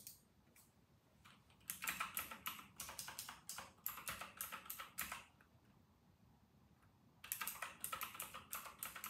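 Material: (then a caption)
Plastic. Fingertips type on a full-size RK960 plastic mechanical keyboard with round typewriter-style keycaps. Two bursts of quick, irregular, bright clacky keystrokes, each with a short crisp decay, are separated by a quiet pause of about two seconds before the typing resumes.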